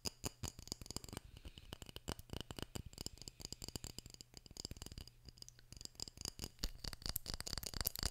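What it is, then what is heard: Glass jar with metal lid. Fingertips tap and scratch the side of a small, partly filled glass jar with a metal lid and a white label. The result is a quick, dense run of short, dry clicks and bright scratchy sounds with almost no ring, over a faint steady low hum.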